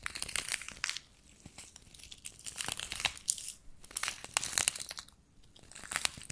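Fingertips and nails scratch and rub a small soft pouch covered in pink-purple plastic sequins. The result is bright, crinkly scratching and clicking in uneven bursts, separated by quieter pauses.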